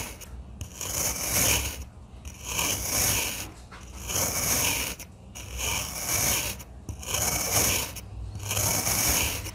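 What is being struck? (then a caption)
Kinetic sand block cut with a knife. A stainless steel crinkle-cut knife held in one hand slices repeatedly through the same solid blue and green kinetic sand block. Each slow stroke makes a bright, gritty, rasping scrape, separated by brief quiet pauses. Thin wavy slices of the damp sand pile up beside the block.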